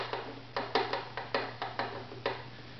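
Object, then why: Maple violin bridge on a strung violin. A small tool held between the fingertips lightly taps the maple bridge of a strung, hollow wooden violin held upright, checking its tap tone for acoustic tuning. Nine short, dry wooden ticks sound at irregular intervals, each with a brief resonant tone around 460 Hz that fades within a fraction of a second.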